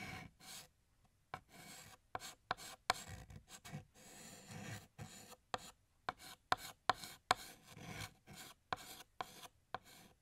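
Fingertips hold a blue chalk stick and draw music notes on a large, flat, solid black chalkboard. Soft rasping strokes alternate with sharp, bright taps and scratches, separated by short pauses.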